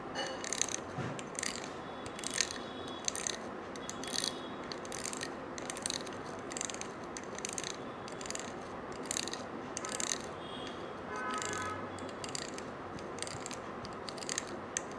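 A stiff-bristled brush scrubs along the coils of a small gold-colored coiled metal wire bangle held in one hand. It makes a steady run of bright, scratchy, ratchet-like rasps in quick rhythmic strokes over a soft hissing bed, with a faint metallic ring now and then.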